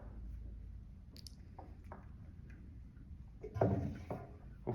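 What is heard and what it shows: Etched glass private keys are dropped through the bung hole into a charred American oak bourbon barrel. Faint ticks and taps give way to a hollow, low thump as the keys land inside the empty barrel, followed by a brief rattle and a final knock.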